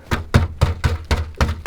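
Seven knocks on the bottom of the rusted steel rear quarter panel of an HQ wagon, where a finger has already gone through the rust, give dull, low thuds that die away quickly with almost no ring or high-frequency content. The rust can be heard in the sound, and the panel needs replacing.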